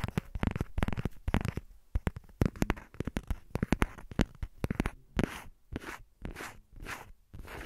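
A thin, hollow, empty transparent silicone phone case with a printed design, held in both hands over the recorder, is tapped and scratched with long painted fingernails and fingertips. Rapid, sharp, dry clicks and taps with a low thud tap through the first five seconds. They give way to slower, broader scratching swipes that hiss across the surface.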